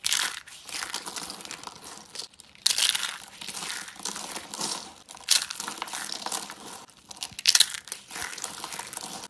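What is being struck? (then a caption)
Soap curls and flakes. Tan dry soap curls and flakes are crushed and crumbled in both hands, giving dry, brittle crunching and crinkling that is almost entirely high and bright with no low end. The crackle runs continuously, with sharper, louder bursts breaking through every couple of seconds.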